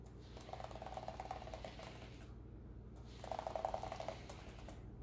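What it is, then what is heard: Plastic laptop keyboard. A hand in a green rubber glove wipes and rubs a white cloth across the keys of a black plastic laptop keyboard lying open on a granite counter. The hard, hollow plastic keys give off a soft run of rattling clicks over a steady low hum, in two busier bursts.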